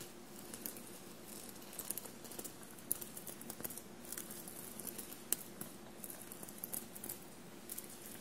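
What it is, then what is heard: Sequin-covered fabric shirt. Long blue-painted nails tap and scratch the surface of a dark blue fabric shirt covered in small metallic silver paillettes, bunched on a table. The result is quiet, scattered, bright clicks and soft scratchy rustling over a faint steady low hum near 350 Hz.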